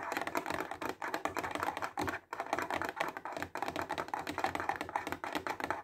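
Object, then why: Clear plastic box full of highlighters. Fingertips and nails tap fast on a clear plastic box full of highlighters, making a rapid, keyboard-like clatter of short, dry clicks. The taps run almost continuously, with a brief pause near the two-second mark, then resume at the same quick pace.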